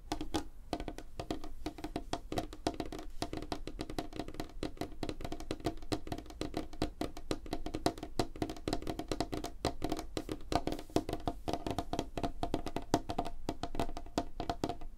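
Fingernails of both hands tap rapidly on a flat, solid, light wooden tabletop. The result is a dense, continuous stream of short, dry clicks with a woody tone around 310 Hz, each tap dying away almost instantly.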